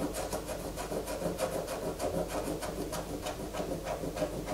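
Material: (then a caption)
Soap. Long fingernails scrape a solid white bar of soap held in the hands, sending soap shavings falling onto the poster. A steady run of quick, rough scratching strokes repeats about three times a second, each with a brief bright hiss over a dense mid-range rasp.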